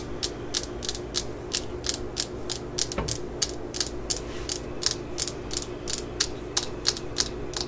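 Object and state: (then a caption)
Fiberglass hammer handle. A claw hammer is held in the hands while long acrylic nails tap and scratch its solid yellow fiberglass handle just below the rusty steel head. The result is a steady, uneven stream of short, bright clicks over a faint low hum, with a soft low thump near the middle.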